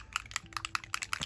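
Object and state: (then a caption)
Mixing ball rattling inside a shaken paint bottle. A bottle of Distress Foundry Wax in the colour Mind is shaken so the mixing ball inside bounces and mixes the contents. Seven sharp, bright rattling clicks follow in an even rhythm, each dying away almost at once.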